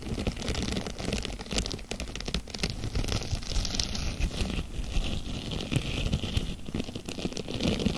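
Fingertips with long nails stretch, scrunch and scratch a thin, palm-sized blue textured plastic mesh sponge cloth held close in front of the mic. The result is a dense, continuous run of crinkling, crackling and scratchy rustles, with a full low body and bright crisp edges.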